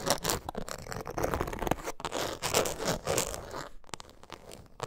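Long nails scratch quickly across the face of a closed coated canvas zip wallet with a leather and zipper edge, held upright. Dense, dry, crunchy rasping fills the clip in rapid bursts, with bright hiss over a low body, briefly dropping out near the four-second mark before resuming.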